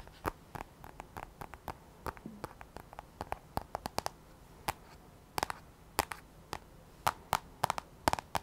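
Long fingernails tap and scratch across the black glass touchscreen of an iPad held in both hands. A quiet, irregular run of sharp, dry clicks comes through, each dying away almost instantly, with faint scraping and low hiss between them.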